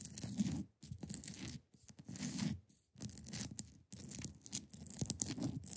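Long painted nails scratch and tap the top and sides of a hand-sized, solid block of clear ice resting on a fabric surface. Dry, rasping scratches with a bright edge come in bursts over soft, low thumps, separated by brief near-silent gaps.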